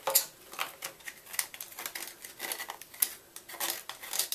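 A small red-handled knife repeatedly scrapes inside the carved hollow of a solid white gym chalk block. The result is a run of quick, dry, bright scraping strokes with a crumbly hiss, no low end, and almost no ring after each pass.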